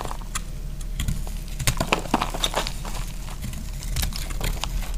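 A knife cuts thin strips off the remaining solid piece of dry pink bar soap held in the hand. A quick run of short, crisp clicks and scraping snaps with bright edges sits over a steady low rumble, with slightly louder cuts in the middle of the clip.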